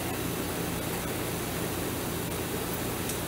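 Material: Nothing is struck.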